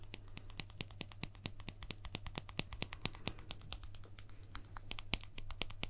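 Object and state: Plastic guitar pick.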